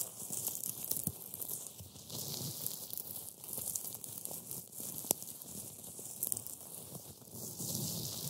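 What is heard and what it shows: Black-gloved fingertips press and crush a pile of dry, brittle, flaky green matcha wafer pieces on a white board. The result is a steady, bright crackling and crinkling, broken by a few sharper snaps, as the crumbs break down further.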